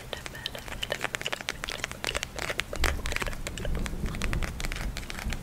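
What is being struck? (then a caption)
Plastic eye mask filled with gel beads. A small purple eye mask with a clear plastic shell filled with gel beads is held in both hands while long nails scratch and tap the plastic and squeeze the beads. Dense, rapid clicks and crinkly scratches come through bright and sharp over a low rumbling handling noise. The sound grows fuller and busier toward the end.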